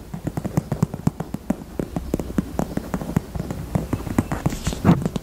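Fingers tap on a pink heart-shaped purse in a steady run of quick, separate taps. Each tap is dull and low with almost no ring, and a brief brighter rustle rises near the end.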